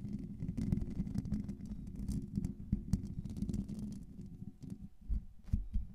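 Long pink nails rapidly scratch a hollow metal mesh microphone grille. The result is a dense, low, rumbling scratching with a faint hum near 195 Hz, with short, dry bursts that fade almost instantly.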